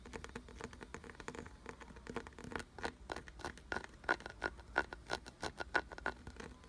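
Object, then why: Carved wooden object. Fingertips and nails tap and scratch a solid, glossy brown carved wooden piece with ridged grooves. A quick, uneven patter of dry, scratchy taps starts softly and grows into sharper, louder clicks with a faint mid-high ring near 1.5 kHz. The taps decay almost instantly.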